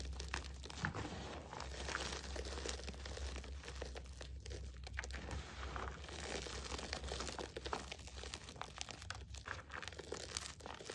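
Both hands press down and squeeze a bowl of crushed green and white gym chalk, small chunks and powder, giving a dense, continuous run of soft crunching and crumbling with brief dry crackles throughout. A steady low hum sits underneath the whole clip.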